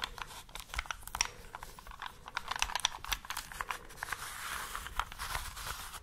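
A small solid plastic 3x3 Rubik's cube with colored stickers, held in both hands, is tapped and scratched with long nails and fingertips while its layers are twisted. The sound is a quiet, dense stream of quick, bright clicks and dry, scratchy crackles with almost no ring or low end.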